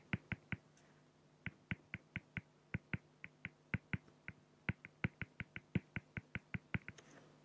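A fine-tip pen is stroked and hatched across a flat solid acrylic (plexiglass) sheet bearing an ink drawing of a raven. About 29 short, dry, bright ticks sound out in quick, fairly even succession, with a brief pause after the first three. A steady low hum runs underneath.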